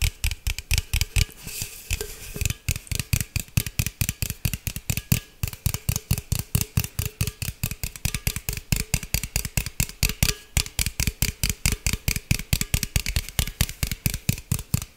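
A green aluminum beverage can, a hollow cylinder that may or may not be full, is tapped and scratched with fingernails close to the mic. About 69 quick, somewhat uneven taps land at roughly two per second, each a dull low thump with a bright clicky, scratchy edge. They die away almost at once, with no ring.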